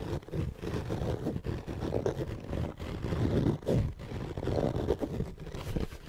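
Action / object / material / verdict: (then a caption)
scrape / fabric-covered EVA hard-shell zipper case / EVA foam / none. Long painted nails scratch and tap across a closed, hollow, black fabric-covered hard-shell EVA zipper case. The result is a dense, muffled, low-heavy scraping with quick dull taps and almost no ring or high content.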